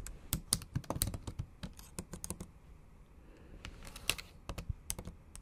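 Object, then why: Laptop keyboard with plastic keys tapped by acrylic nails. Long acrylic nails type in Japanese on a MacBook Pro keyboard with black plastic keys set in an aluminum body. About 22 sharp, dry clicking taps come in quick bursts, with a brief lull in the middle. Each tap is bright and snappy and dies away almost instantly.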